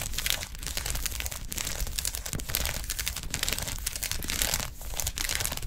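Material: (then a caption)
Plastic. Long acrylic nails tap fast in a typing-like rhythm across a large, flat blue plastic gel ice pack with quilted gel-filled cells. The result is a dense, steady stream of bright, crinkly clicks and scratches over a low, soft rumble, with only brief dips in the flurry.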